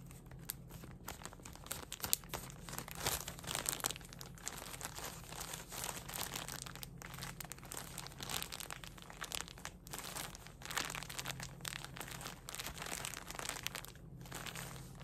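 A soft plastic bag full of cotton pads is held in both hands and squeezed and crinkled with the fingers. It makes a dense, continuous run of quiet, bright crinkles and crackles, with a few louder bursts, over a steady low hum for the whole clip.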